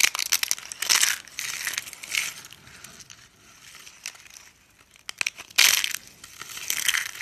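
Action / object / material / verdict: scrape / soap shavings crushed by hand / soap / none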